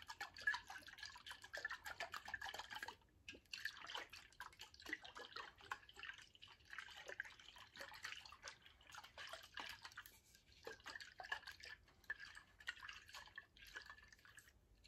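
A tall glass water bottle, partly filled with liquid, is held sideways, tilted and shaken so the liquid sloshes while fingernails tap on the glass. The result is a quiet, continuous stream of quick bright clicks and watery gurgles with a glassy ring near 1.7 kHz, briefly easing around 3 and 10 seconds.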